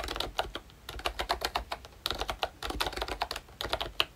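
Fingertips type on a ROYCHE Disney Mickey Mouse pink plastic retro membrane keyboard with round keycaps and a hollow body. The result is a steady run of soft, bright, clicky keystrokes with short, dry taps and little low end.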